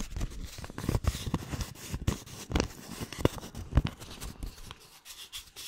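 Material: Paper.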